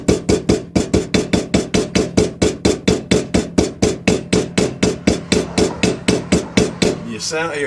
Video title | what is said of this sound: Toyota Celica Power Steering Pump Rebuild | the sound change cuz that's when you start tapping on the outer part of the housing and you know it's seated good